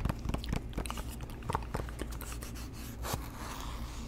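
A small, hollow white cardboard box with its open end visible is held in both hands and tapped and scratched with the fingertips close to the microphone. Irregular, quick, dull taps and dry scratching crackles sit over a steady low hum, with most of the energy in the low end. The sound ends in a softer, continuous rustling scrape.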